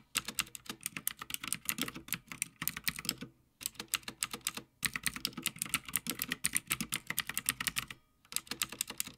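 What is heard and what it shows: Fingertips of both hands type continuously on a Havit full-size backlit mechanical gaming keyboard with plastic keycaps on a metal top plate. Rapid, bright, clacky keystrokes come in bursts, each click short and dry, with brief pauses near 3.5, 4.8 and 8 seconds.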